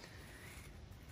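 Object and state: Nothing is struck.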